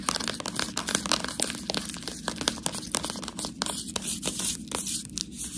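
Long nails scratch and tap the side and front of a full, clear plastic bag of fresh tortellini. The result is a dense, bright crinkling texture with quick, sharp taps that stop almost instantly, over a faint low hum.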